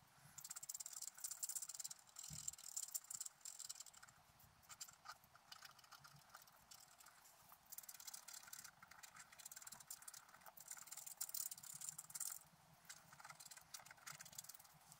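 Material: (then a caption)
Coated paper. A wooden stylus scratches the coating of a flat black coated scratch-art paper sheet lying on a table. It makes a quiet, bright, dry rasping in uneven bursts of rapid strokes, with the densest scratching early on and again in the middle of the clip, separated by softer stretches. There is almost no low end, and each stroke stops at once without ringing.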